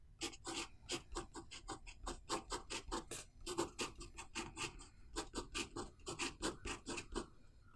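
A metal pen nib scratches across a thin paper notebook page covered in handwritten characters while writing. It makes a quick, steady series of short, bright scratchy strokes, each with a soft body around 340 Hz and almost no ring after it.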